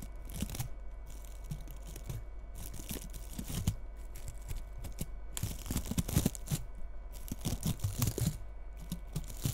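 Long red nails scratch through the bristles of a small frosted bottle-brush Christmas tree with bead ornaments, held tilted. The result is a continuous dense crackling and rustling, with bright scratchy bursts over a low rumble.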